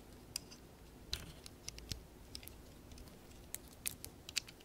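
A small round orange and tan Lego plant pot, hollow and built from ABS plastic bricks with a textured top, is held in both hands and tapped or scratched on its surface and rim with long painted nails. Sparse, sharp, bright plastic clicks and ticks pop out at irregular intervals over a quiet low hiss, each one dying away instantly.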